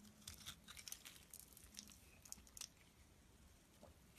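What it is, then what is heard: Bar soap scraped with a blade. A metal blade scrapes the surface of a solid light green bar of soap. The sound is a quiet run of dry, bright, crunchy scraping strokes, mostly high in tone, with little low end. Each stroke cuts off quickly with almost no ring.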